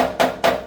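Two quick flicks on a welded spot of a steel sheet metal transition floor pan installed on a Mustang give short, solid taps with a ringing tone near 680 Hz that dies within about a tenth of a second. Compared with the hollow sound of an unwelded spot, this welded spot sounds solid and normal.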